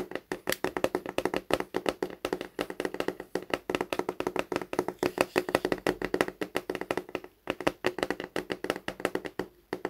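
Fingertips tap quickly and steadily on the glossy cover of a large, thick, solid hardcover science book that lies flat and is then held upright. The taps are short and dry, with a hollow, mid-pitched knock centered around 540 Hz and almost no low rumble. A brief pause falls just past seven seconds before the tapping resumes.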